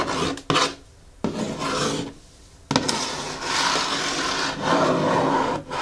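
Long fingernails scratch and tap on the closed lid of a medium-size blue printed Hoka cardboard shoe box resting on a wooden table. Bursts of dry, raspy scratching, each starting with a sharp tap, are separated by short quiet gaps.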